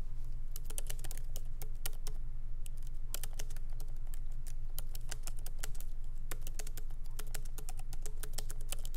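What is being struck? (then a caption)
Laptop keyboard with plastic keys. Both hands tap continuously with their fingertips on a MacBook Pro keyboard, whose low-profile plastic keys sit in a solid aluminum body. Quick, irregular, bright clicks of the keys patter over a steady low hum that carries most of the energy, and the level stays even throughout.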